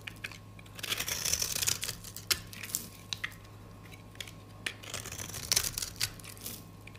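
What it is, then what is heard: Dry soap bar, crunchy. An orange-handled metal utility blade scrapes and scores a rectangular, solid, cream-colored dry soap bar held in the hand, breaking off crunchy strips. Bursts of bright, dry crunching and scraping are broken by sharp crackling snaps and short quiet pauses, over a faint steady low hum.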